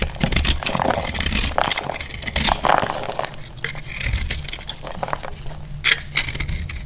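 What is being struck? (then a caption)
Bar of soap. A utility blade shaves a solid, rounded, dry blue-purple marbled soap held in the hand, cracking flakes off it. The result is a dense, dry, crackling scrape with bright, sharp snaps and clicks over a steady low rumble, with louder cracking bursts near the start and again toward the end.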